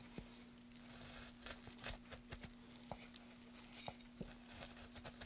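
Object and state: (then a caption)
Wooden board being carved. A gloved hand carves along a groove in a solid, light wooden board with a metal gouge, making repeated scraping cuts. The cuts come as short, dry, bright scrapes and crackles over a faint steady hum, each dying away almost at once.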